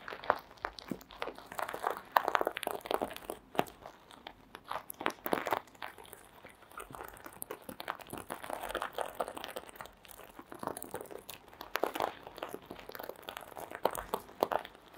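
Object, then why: Plastic sequins on a fabric mask. Long green acrylic nails scratch and brush the plastic sequins of a small sequin-covered fabric mask resting on red fur. The sound is a steady stream of short, dry, crunchy scratches and rustles centered in the midrange, coming in uneven bursts that swell and fade over the clip.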